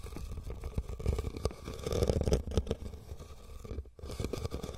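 Fingernails of both hands scratch and tap across a hollow, empty red woven rattan basket, making a dense, busy stream of dull, low-heavy scrapes and soft knocks. The sound briefly drops to near silence just before the end, then the scratching resumes.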